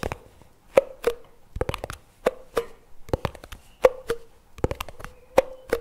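Fingertips tap the white plastic lid and rim of a plastic chocolate spread jar lying on its side on a table. The result is a quick, irregular series of light, hollow plastic taps, each with a brief resonant tone around 500 Hz that dies away almost at once, with soft clicks in between.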